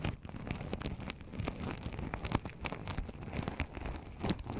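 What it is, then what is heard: Sequin fabric pouch. Fingertips and nails rub and flip the sequins along the edges of a small, open, empty sequin-covered fabric pouch. The result is a quiet, steady crinkling rustle, dense with quick soft ticks and clicks, mostly low and muffled with only faint brightness on top.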